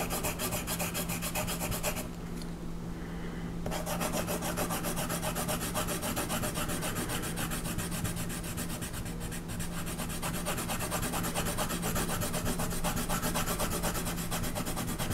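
A colored pencil rubs vigorously across a flat paper coloring page, shading a horse's body and legs in fast strokes. A steady, rapid scratchy rasp continues throughout, dipping briefly in brightness early on before resuming at full pace.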